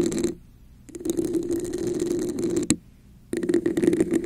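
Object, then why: Textured plastic cup. Long nails tap and scratch the sides of a red, hollow, textured plastic cup held over a microphone with both hands. The result is a dense, hollow scratching with a steady resonant tone around 330 Hz, broken by two short silences and a sharp tap just before the second pause.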